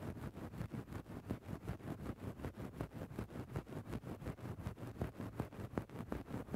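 A wooden stick tip is worked into a grey faux-fur microphone windscreen with scratching motions. It makes a steady rhythm of soft, muffled, low-heavy rustling scrapes, about two or three strokes per second, with a faint hiss and little bright content.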